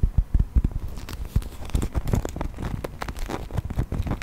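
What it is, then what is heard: Plastic toy figurine. A hand-sized brown textured plastic toy mammoth, held upright, is tapped and scratched with fingernails. The result is a quick, irregular run of soft, dull clicks and crackly scraping, heavy in low thuds with brief bright edges on each tap.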